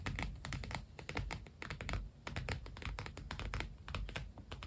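Fingertips and nails rapidly tap and scratch the padded cover of an iridescent holographic PU faux leather binder planner lying flat. The result is a fast, irregular stream of short, dull, low-heavy taps with crisp, bright scratchy clicks on top. Each tap dies away almost at once.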